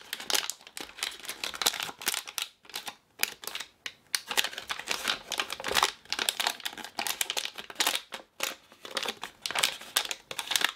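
A small green and blue Ooshie blind-bag toy packet made of plastic film, unopened and held in both hands, is squeezed and crinkled by fingertips and long painted nails. Dense, bright crinkling comes in rapid bursts separated by brief pauses, with almost no low end.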